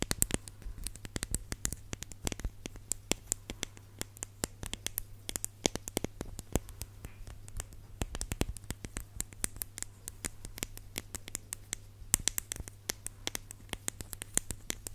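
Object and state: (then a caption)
Plastic lotion tube tapped with nails. Long nails tap and scratch a red plastic lotion tube with a white plastic cap, held upright. Dense, rapid, dry clicks and scratches run throughout, with no ring and a steady low hum underneath.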